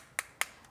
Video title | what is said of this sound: Perilogics Universal Airplane Phone Mount Review (2 Weeks of Use) | the entire thing is made of plastic you can hear it when i tap it